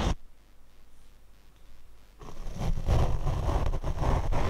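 A large paint brush sweeps its bristles across the black foam windscreen of a small Rode shotgun microphone on a mini tripod. A brief brush stroke opens the clip, followed by about two seconds of near quiet. Then continuous rubbing strokes build into a loud, dense, low rumbling scratch that lasts to the end.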